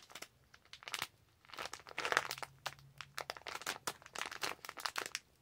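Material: Plastic.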